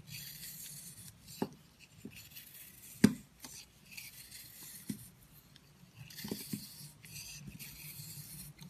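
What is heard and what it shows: A metal utility knife blade shaves and scrapes chunks off a hand-held, palm-sized purple bar soap that is solid, porous and crumbly. Soft, airy scraping hiss runs throughout, broken by crisp little snaps as pieces break away, with the sharpest crack about three seconds in.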